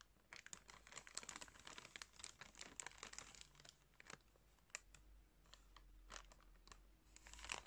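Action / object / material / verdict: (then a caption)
scrape / soft plastic package of cotton pads / plastic / none. Fingertips crinkle and squeeze a soft, clear plastic package full of cotton pads. A quiet, steady stream of bright, crisp crackles and rustles rises and falls, with sharper snaps scattered throughout over a faint low hum.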